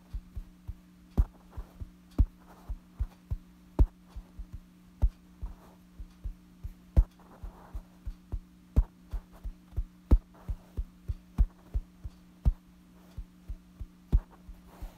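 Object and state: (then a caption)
Fabric bedsheet. Fingertips scratch and tap a light-colored soft fabric bedsheet lying flat. Quick, dull taps and soft scratching rustles land in an irregular rhythm, with the strongest taps giving short, low thumps. A steady low hum runs underneath throughout.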